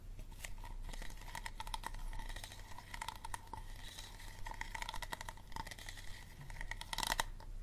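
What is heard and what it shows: Fingernails tap quickly and repeatedly on the ribbed body of an empty, hollow, clear plastic water bottle with its label removed and a green cap on. The result is a dense run of short, dry clicks and crinkly taps with a faint hollow tone. The sound sits over a low, steady background rumble.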